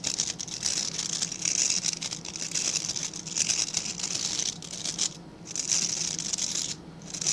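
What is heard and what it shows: Fingertips and nails scratch across the tips of a small dark-grey rectangular brush with dense, stiff bristles held in both hands. The result is a continuous, bright, crackly rustle concentrated in the high range, rising and falling in waves with brief quiet dips near 5 and 7 seconds.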